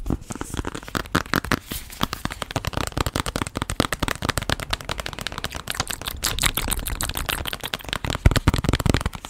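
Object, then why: Hardcover cardboard children's book. Long black nails tap and scratch the cover of a small hardcover cardboard children's board book ("Animais da Fazenda," with a holographic panel) held in both hands. Rapid, dense, dry clicks and scraping crackles run throughout, with a soft low thump underneath and bright scratchy edges. The book sounds solid, not hollow.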